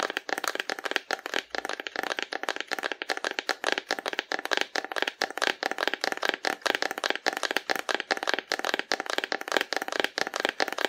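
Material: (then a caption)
Cardboard. A hollow painted cardboard dinosaur figure, held horizontally in both hands, is tapped on its side with long nails. The result is a rapid, steady stream of dry, hollow clicks with no low end and almost no ring, centered in the mids with some bright edge.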